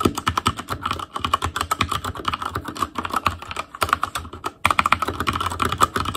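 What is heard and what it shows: Fingertips of both hands type continuously on an ASUS ROG Claymore Core mechanical keyboard with Cherry MX Red switches, black plastic keycaps on a metal frame, and a hollow RGB-backlit housing. It produces a rapid stream of short, dry clicks and clacks centered around 1.3 kHz with a light low thump. There are brief pauses near one second and again around four and a half seconds.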